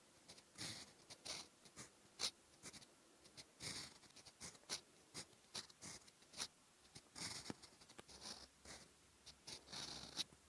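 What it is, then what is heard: Fountain pen nib writing on lined paper. A steel fountain pen nib, held in the fingers, writes in orange ink across a flat cream lined notebook page. It makes a quiet, bright scratching in short bursts of strokes with brief pauses between them, and the scratch comes in as a steady nib-on-paper rasp.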